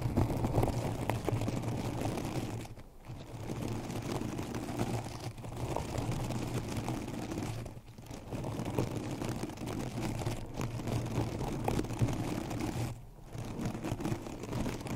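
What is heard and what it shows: Long decorated acrylic nails scratch and rub the blades of a synthetic plastic turf cover wrapped hollow around a microphone. The result is a dense, continuous crackly rustling with a heavy low rumble. It drops into brief quieter pauses around 3, 8 and 13 seconds.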